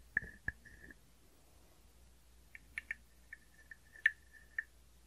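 A small hollow carved wooden frog guiro, held on the palm, has its ridged back scraped with a wooden stick. It gives nine short, quiet rasping croaks with a woody tone around 1.8 kHz and bright edges, each dying away almost at once. The croaks come in uneven bursts with pauses between them.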